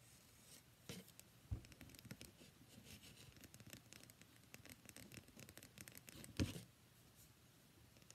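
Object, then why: Bar of soap. Long nails scratch and tap the flat faces and edges of a solid cream-white rectangular bar of soap held in the hands. Quiet, dry scratching and soft patter run throughout, with brief brighter scrapes. Sharper knocks stand out near the 1.5 and 6.4 second marks.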